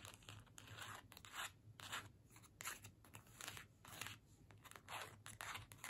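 A small, flat card-stock holiday gift tag held in the hands is scratched and tapped with long nails. Uneven bursts of dry, papery scratching and light taps come in quick succession, bright and hissy, over a faint low hum.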